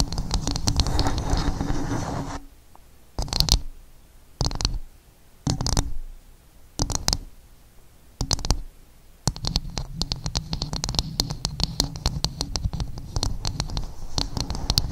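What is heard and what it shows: Long nails scratch across a dome-up coconut shell in a steady, low rustling rasp. The hands briefly lift, leaving short bursts of tapping separated by near-silence. Dense scratching and quick, bright, dry taps then resume and continue to the end.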